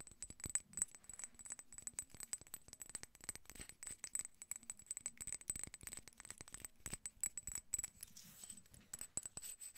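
A small, hollow amber/yellow glass dropper bottle, partly filled with liquid and topped with a dropper cap, is held in the hands, tapped with long nails and shaken. The result is a quiet, rapid stream of sharp, bright glassy clicks and clinks with a thin high ring that stops almost at once after each tap.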